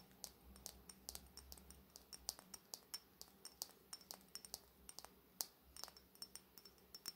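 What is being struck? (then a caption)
Glass cosmetic bottle. Long nails tap along the length of a Fenty Beauty bronze-coated glass cosmetic bottle held in both hands. The result is a quiet, steady run of crisp, bright clicks that stop dead with no ring, over a faint low hum.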